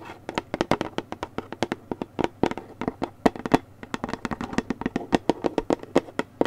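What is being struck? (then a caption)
Paperboard juice carton. A Newman's Own orange mango juice carton, a gable-top paperboard carton of about 1 quart with a plastic cap, is held in hand while long painted nails tap and scratch its sides. About 37 quick, dry, hollow clicks and taps come in an uneven run, mostly mid-pitched with a faint papery scratch between them. Each tap dies away almost at once.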